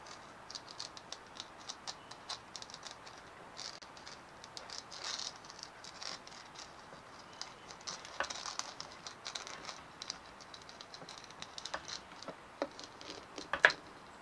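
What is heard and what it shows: Long nails tap quickly and scratch the dimpled shell of a white hollow plastic ball resting on a wooden table. The result is a quiet, steady stream of light, dry clicks and scratchy rattling, bright with almost no low end. A sharper, louder tap stands out near the end.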